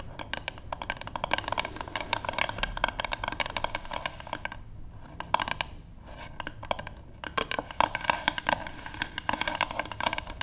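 Long acrylic-painted nails of both hands tap rapidly on the flat back of a light, solid wooden paddle hairbrush lying on a table, recorded close-up. Dense, dry clicks with a hollow woody knock around 945 Hz and a bright top come in fast bursts, pausing briefly near the middle before resuming. Each tap stops almost instantly with no ring.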